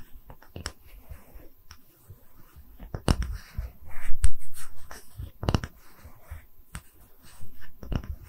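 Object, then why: Small round wooden slab. A small, round, solid wooden tree-slice stand is held in both hands while long red nails tap and scratch its face. Soft, irregular taps mix with dry scratching strokes in a low, muffled, close-up sound, and short louder scratching bursts come in the middle of the clip.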